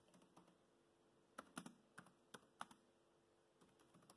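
Fingertips type slowly on a laptop keyboard with black plastic keys, producing short, dry clicks spaced apart, with a cluster of louder taps in the middle. Each keystroke is crisp and quick, with no lingering ring and a faint, quiet background.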